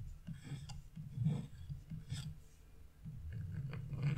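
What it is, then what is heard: Scratch-art paper being scraped. A thin metal chisel scrapes a small leaf shape into a flat, black-coated scratch-off art page. Short, rasping scratch strokes come in uneven bursts, with a low, dull body and faint bright edges, at a quiet level throughout.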